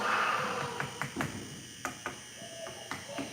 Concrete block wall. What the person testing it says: you can try yourself you'll hear how it's Hollow